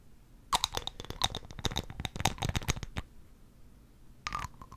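Long acrylic nails tap on the cap and top of a small amber glass dropper bottle held in one hand. A quick, irregular run of sharp, bright clicks with a soft low knock lasts about two and a half seconds, then stops. After a pause, a few more taps follow near the end.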